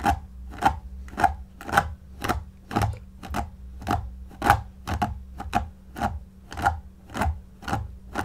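A white pin-bristle paddle brush held in the hand repeatedly strokes through the long synthetic shag pile of a shaggy faux fur pillow while the other hand rests on the pile. Each stroke makes a short, dry, raspy swish with a brief scratchy peak around 800 Hz, repeating at a steady, slightly uneven pace of about two strokes per second. A faint low hum runs underneath.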